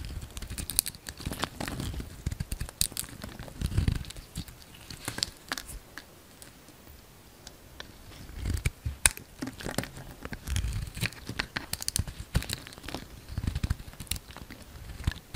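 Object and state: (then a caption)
Bar soap being carved. A solid oval pale green bar of soap, held in the palm, is carved into curls with a utility-knife blade. Dry, crinkly scraping and cutting strokes come in uneven bursts, with sharp bright ticks and crackles over a soft low rustle and a quieter pause near the middle.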